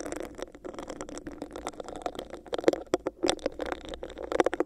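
Fingertips and long nails scratch the sides of a hollow, clear, bumpy textured plastic cup held over a microphone. The result is a dense, continuous rasping and crackling with a hollow, boxy midrange resonance. Sharper, louder clicks and scrapes break through toward the end.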